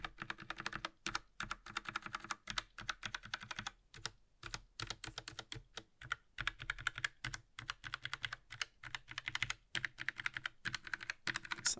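A gloved hand types steadily on a compact Logitech Mechanical Mini keyboard with plastic keycaps and a metal top plate, working across the bottom rows and right-hand keys. The result is a continuous stream of bright, dry, short-lived clacks, broken by a few brief pauses.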